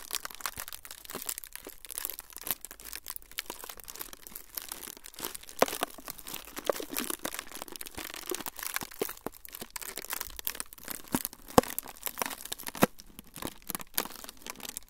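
A thin, flexible, semi-translucent frosted plastic sheet is held in front of the recorder and crinkled and crumpled with the fingertips of both hands. It makes a steady, dense stream of fine crackles and sharp snapping clicks. The sound is bright and crisp, with little low end.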